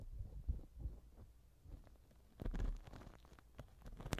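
A black silicone ear pick rubs and scratches inside the left silicone ear cover of a TASCAM microphone. The result is soft, muffled low thumps and rustling, with sharper scraping bursts near the middle and end.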